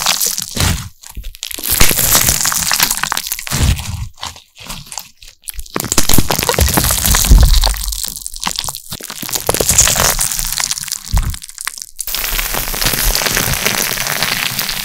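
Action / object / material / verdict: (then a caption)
scrape / glitter slime / slime / none. A handful-sized mass of pink glitter slime is pressed, stretched and squished with both hands behind the microphone. It makes dense, continuous crackling pops and wet crunches in uneven bursts with brief pauses. The last few seconds settle into a steadier, quieter crackle.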